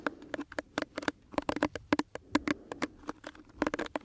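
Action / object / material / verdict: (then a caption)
scrape / plastic detangling hairbrush / plastic / none. Fingertips and nails scratch and rub across the bristles of a small pink plastic detangling hairbrush held close to the microphone. A quick, irregular run of soft, dry clicks and scrapes rings briefly with a hollow plastic tone, each tick bright and gone almost at once.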